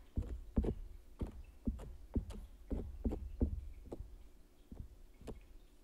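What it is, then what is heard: Stretched canvas print. A palette knife scratches and traces across the surface of a large stretched canvas print. The result is a steady series of short, dull, low thuds, each with a brief scratchy rasp reaching into the high range, over a quiet background.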